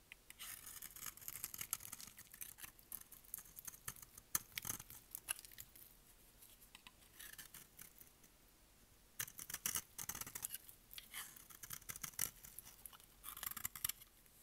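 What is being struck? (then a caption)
Bar of soap cut with a blade. A utility blade shaves and cuts pieces off a hand-sized, solid, rectangular bar of dry pink soap held in the hand. Quiet, bright, crisp scraping and crackling comes in bursts of rapid strokes, with a near-silent pause midway before the shaving resumes.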